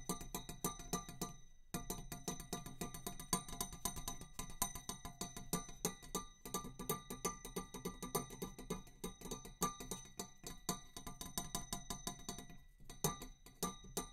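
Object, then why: Metal tube. A metal tube is tapped in a quick, steady stream of light strikes, pausing briefly a few times. Each tap gives a short metallic click over a low hum with bright, ringing overtones that die away almost at once.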